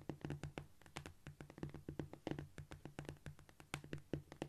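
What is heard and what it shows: Long, shiny almond-shaped nails on both hands tap and scratch across a flat, solid cork floor. The result is a quick, scurrying run of short, dull, low taps with brief scratchy bursts. The hits are dense and overlapping, with almost no ring.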